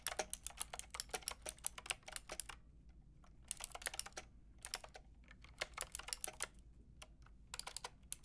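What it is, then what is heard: Plastic mechanical keyboard being typed on. Long painted nails and fingertips type on a white-and-pink Lofree mechanical keyboard with round plastic typewriter-style keycaps and a hollow plastic case. Bursts of quick, bright, sharp clicks separated by short pauses rise over a faint low hum.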